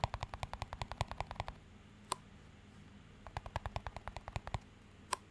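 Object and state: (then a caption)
Clear plastic cup. Fingertips tap and scratch a small, empty, clear plastic cup with a green band. Quick runs of short, dry, bright ticks with a low, dull body come in two bursts, each followed by a single isolated tap, over a faint steady low hum.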